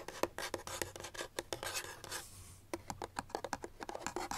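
Long nails tap and scratch along the sides and edges of a small, hollow white paperboard box held in the hands. A rapid run of dry, crisp clicks mixes with bright scraping, briefly easing into a softer rub partway through before the quick tapping picks up again.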